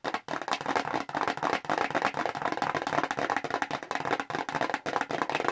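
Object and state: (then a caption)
Cardboard box. A small square red Clinique cardboard product box, held in the hands, is tapped quickly with long acrylic nails. The result is a rapid, dense stream of dry, papery clicks centred in the midrange around 1 kHz, with almost no bass and no ring, broken by a few brief pauses.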